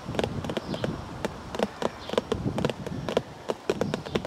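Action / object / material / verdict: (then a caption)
tap / cardboard tea bag box / cardboard / none. Fingers tap on a cardboard tea bag box in a steady run of quick, irregular taps. Each tap gives a short, dry, hollow knock centered in the midrange with a brief bright click at the onset, decaying almost instantly over a faint hiss.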